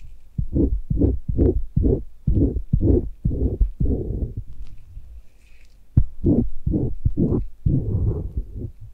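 A gloved hand strokes a thin metal blade on a handle near the canal and antihelix of a white silicone binaural microphone ear held by a bare hand. The light scraping comes through as a steady series of low, muffled, thumping strokes. It pauses briefly, then resumes in another run of dull rubbing strokes.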